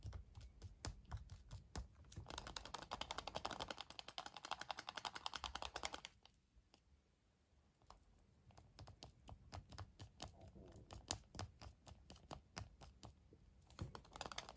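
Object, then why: Foil-wrapped chocolate egg. A small, hand-sized Kinder Surprise chocolate egg, hollow with a capsule inside and wrapped in printed aluminium foil, is held in both hands and turned over while fingernails tap and scratch the foil surface. Quick, irregular, dry clicks run throughout, with a louder crinkly scratching passage early on and a brief quiet lull in the middle before the tapping picks up again.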